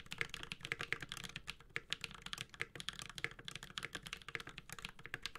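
Fingertips of both hands type steadily on a Space65 Cybervoyager, a 65% mechanical keyboard with an aluminum case, ABS plastic keycaps and Holy Panda switches. Rapid, crisp keystrokes come in a dense stream of short, dry clacks centered around 2 kHz with a bright top, and each one dies away almost at once. There is little low-end thump beneath the clicks.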